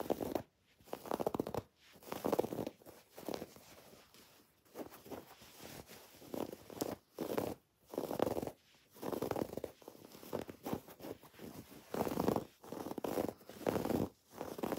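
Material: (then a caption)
Fabric. A cream woven fabric throw pillow with raised red and pink felt "XOXO" letters, soft and stuffed, is held upright and flat and scratched with long, dark-painted nails. The result is bursts of soft, muffled scratching and rustling, centered in the low-mids around 480 Hz, separated by brief near-silent pauses.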